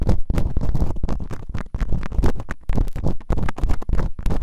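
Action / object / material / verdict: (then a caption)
scrape / silicone ear microphone scratched with bamboo earpicks / silicone / none. Bamboo earpicks, held in fingertips with long nails, quickly scratch and rub inside both open canals of the solid, rubbery silicone ears on a white binaural microphone. The result is a dense run of rapid, muffled scratching strokes, heavy and rumbling in the low end, with short gaps between bursts.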